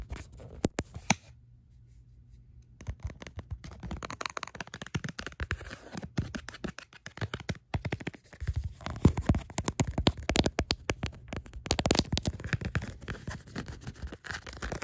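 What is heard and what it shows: Long acrylic nails rapidly tap and scratch the back and card pockets of a smartphone in a tan faux leather wallet case with card slots. Dense, fast clicks and scratchy rasps with a dull, low body fill the clip after a brief quiet pause near the start, growing busier and louder toward the middle and end.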